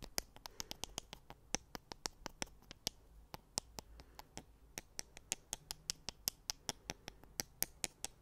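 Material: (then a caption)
Wood. Two thin, solid wooden sticks, like chopsticks or skewers, are held in the fingers and tapped and clicked together close to the mic. About 38 sharp, bright clicks sound in a steady, uneven rhythm, each dying away almost instantly. A faint low hum sits underneath in a quiet space.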